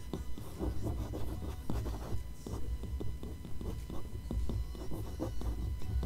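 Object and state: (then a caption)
Glossy paper magazine page being scratched. A long fingernail traces and scratches across an open glossy paper magazine page showing a Tom Ford ad, then fingers rub the same spread. The result is a steady run of soft, dry scratching and rubbing strokes over a low, muffled rumble.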